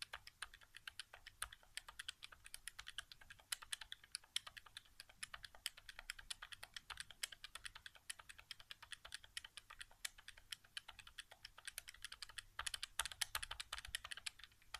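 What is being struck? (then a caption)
Plastic game controller buttons. Fingertips tap and click the right-side face buttons of a white, hollow plastic PS4 controller resting on carpet. It makes a quiet, rapid, irregular run of sharp, bright plastic clicks that die away almost instantly, with very little low end.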